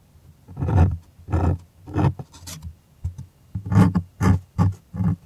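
Fingertips and nails scratch close to the mic across the taut fabric of a stretched cotton art canvas on a hollow wooden frame. A series of separate rasping strokes sounds deep and boomy, almost like a low growl.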